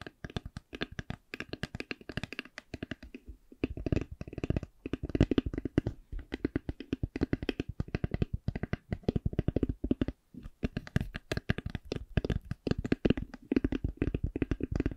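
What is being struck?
Eyeglass case.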